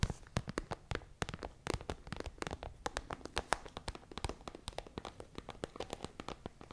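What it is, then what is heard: Plastic pencil case tapped and scratched. Long fingernails tap and scratch quickly on a holographic, iridescent transparent plastic pencil case holding some items, held close to the microphone. The result is a rapid, irregular run of sharp, dry clicks and crinkly scratches, each dying away almost at once.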